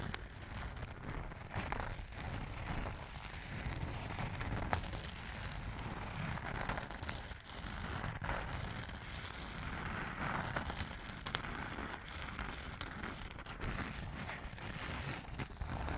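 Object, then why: Glitter fabric makeup bag. Long nails and fingertips scratch and rub the textured surface of a small, soft gold glitter fabric makeup bag held above a microphone. The result is a steady, dense crackling scratch with a heavy low rumble underneath, rising and falling slightly over its length.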